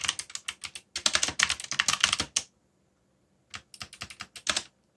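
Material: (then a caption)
Plastic. Fast fingertip typing on a backlit plastic mechanical keyboard with dark plastic keycaps produces bright, sharp clicks in quick bursts. The bursts run for about two and a half seconds, stop for roughly a second of silence, then resume briefly.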